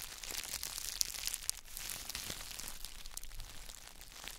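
Gloved fingertips press and squeeze the plastic bubble wrap around a solid, palm-sized square block of gym chalk. A steady, bright crinkling is heard, with a few sharp, louder crackles standing out near the start. The sound stays close and dry throughout.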